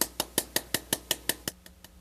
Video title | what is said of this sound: Placement of Three Bicon SHORT® Implants using Internal Sinus Lifts and the Insertion of an IAC | The sound is a lot softer. It's no longer resonant.